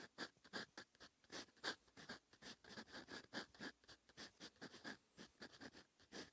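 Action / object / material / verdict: scrape / steel fountain pen nib on lined paper / paper / none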